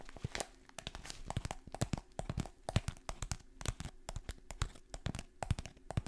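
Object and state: Kraft paper bag, crinkled and scratched.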